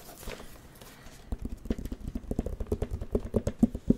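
Fingertips tap rapidly across the screen of a plastic light-up drawing pad with a white frame. After a faint, quiet start, a quick, uneven run of short, dull, low-pitched taps begins and grows louder toward the end. Each tap is clipped and dry, with no bright ring.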